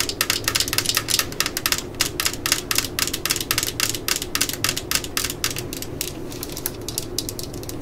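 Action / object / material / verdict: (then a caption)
tap / plastic cordless drill housing / plastic / none. Long nails tap and scratch the yellow and black plastic housing of a cordless drill lying on a mat, working near the logo and around the body. The result is a fast, irregular stream of sharp, bright plastic clicks with a faint steady low hum underneath. The taps grow a little softer and sparser toward the end.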